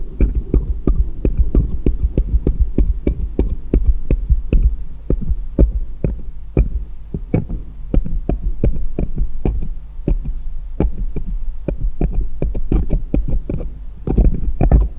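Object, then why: Small steel jeweller's screwdrivers. Fingers hold one small solid steel jeweller's screwdriver and tap its tip against others lying in a pile on a patterned cloth. Quick, dry metallic ticks come in uneven bursts over a steady low hum. The taps come fast at first, slow through the middle, and cluster densely near the end.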